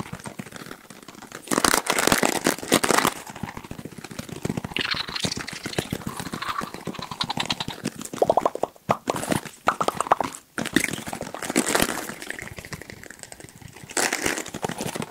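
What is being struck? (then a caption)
Plastic hairbrush bristles. A black plastic hairbrush with colorful bristles has its bristles scratched and tapped quickly with the fingers. The result is a dense, dry stream of rapid clicks and scratches with bright hiss and short bursts of louder tapping.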